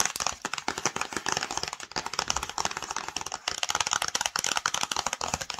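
Long nails tap quickly on the front and top of a flat, hollow black and yellow cardboard screen protector box. The result is a dense, steady run of sharp, bright clicks and light crackles with almost no low end. Each tap dies away almost instantly.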